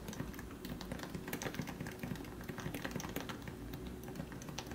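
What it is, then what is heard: Topre keyboard typing. Both hands type with their fingertips on a compact plastic Leopold FC660C keyboard with lubricated 45 g Topre electro-capacitive switches and grey and white keycaps. A steady, rapid run of soft, muffled, low thocky key presses continues through the clip, with short, damped returns.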